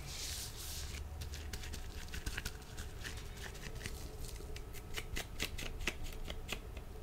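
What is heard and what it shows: Dry, thin blue nitrile disposable gloves worn on both hands rub, slide and lightly slap against each other beside the microphone. The result is a rapid shuffling, papery rustle with bright, short clicking snaps over a low rumbling bed, opening with a brief breathy high hiss.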